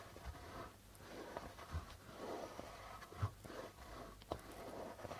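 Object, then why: Darbuka drum with plastic head. Fingertips slowly rub and tap the white plastic membrane of a hollow, red-bodied darbuka drum. A soft, continuous rubbing and scratching texture carries throughout, broken by three short, low, dull thumps that die away almost at once.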